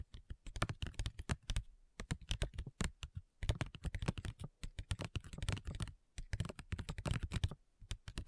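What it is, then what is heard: Plastic foil sheet mask packet. Long nails tap quickly on a flat, printed plastic/foil facial sheet mask pouch. The result is rapid bursts of crisp, dry clicks with a soft low thump beneath them, separated by short pauses. Each tap dies away almost instantly.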